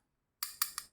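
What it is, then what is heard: Solid wireless microphone transmitter. Three sharp taps are knocked on the housing of a MAMEN WMIC Mate 2 wireless microphone transmitter, giving short, bright clicks with energy mostly above 1 kHz and almost no ring. The body sounds solid.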